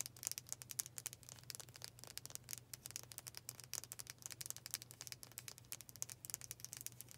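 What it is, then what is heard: Wooden brush tapped with fingernails. Long fingernails tap fast on the solid dark wooden back and handle of a hand-sized brush with black bristles. The result is a quiet, rapid stream of crisp, bright clicks that die away almost instantly, over a faint low steady hum.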